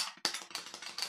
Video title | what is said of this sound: Blind Shakers Give Higher Extraction... Right? | it has a bit of a gap so if I take this and I shake it hear that rattle